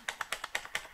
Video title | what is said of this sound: How to fix the SSG-24 Stock Wobble Problem | if you can hear this rattle noise here in the back, it means you have the stock wobble problem